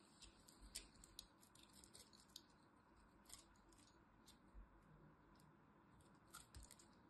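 A small metal blade cuts and scrapes the edge of a dried lilac soap bar held in the hand. Quiet, crisp, bright scratches and short clicks sound over a low, steady background rumble.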